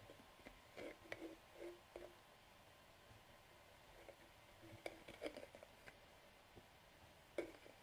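Fingertips twist the black plastic screw cap off and back on a medium hollow translucent plastic bottle of Boots conditioning nail polish remover with liquid inside. Quiet, dry thread-scraping rasps and small bright clicks come in short clustered bursts over a soft hiss, with brief pauses between turns.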